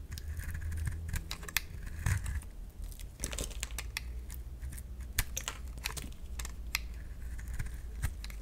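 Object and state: Dry bar soap being shaved.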